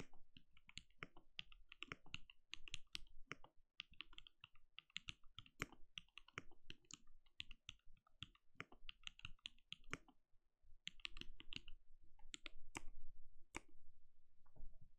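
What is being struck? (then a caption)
Plastic mechanical keyboard. Rapid key taps on a compact backlit mechanical keyboard with plastic keycaps and a translucent glowing case, typed with the fingertips of both hands. Irregular bursts of short, crisp clicks with a bright top and a soft low thump fill the clip, with a brief pause near ten seconds before the typing resumes.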